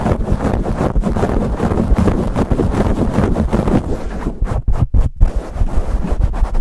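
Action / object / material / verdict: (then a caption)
scrape / foam microphone windscreen / foam / none. Both hands scratch and rub aggressively with their fingertips on a black foam windscreen fitted over a silver condenser microphone. The result is a dense, continuous, muffled rumble and scraping, heavy in the low end with almost no high content. It is broken by a few brief gaps near the end.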